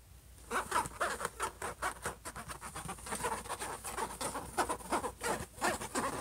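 Fingertips tap rapidly and nails scratch across the closed lid of a silver HP laptop, a flat hollow shell, with both hands. Quick, irregular, dry taps centred around 1 kHz mix with bright, rasping scratches, each tap dying away almost at once.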